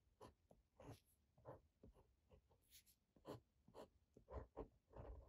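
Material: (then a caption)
Paper. A uni-ball one ballpoint pen tip scratches across thin grid-ruled Campus notebook paper lying flat and solid on a desk, writing Japanese characters and numbers. It is heard as a quiet series of short, separate scratchy strokes with brief gaps between them, mostly low and midrange with little high content.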